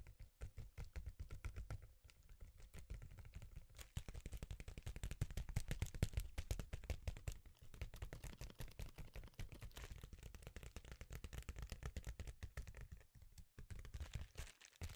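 A sheet of reflective foil bubble insulation is held in both hands and tapped quickly with the fingertips. The result is a dense run of soft, dull, low taps with brief pauses near 2, 7.5 and 13 seconds.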